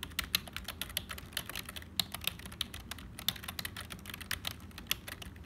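Fingertips of both hands type continuously on a black HP plastic membrane keyboard with hollow keys. A rapid, steady stream of short, bright plastic clicks and taps rises over a low, soft background, with each keystroke dying away almost instantly.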